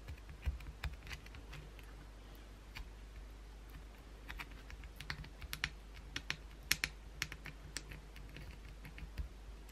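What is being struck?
Soap bar tapped with acrylic nails.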